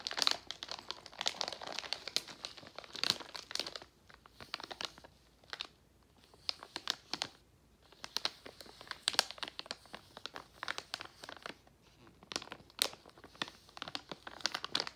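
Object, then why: Plastic foil candy pouch. Fingertips and a palm rub and press the surface of a partly full Jolly Rancher Gummies plastic foil candy pouch, producing dense, bright, crisp crinkling. The crackles come in bursts with brief quieter pauses around the middle, and there is almost no low end.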